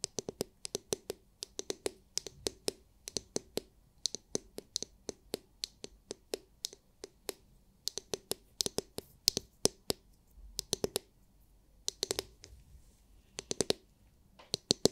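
Long nails tap and scratch the hard shell of a palm-sized, oval, glittery translucent plastic scalp massage brush with bristles on its underside. It makes quick bursts of sharp, bright clicks that stop almost instantly, with faint scratching between the taps.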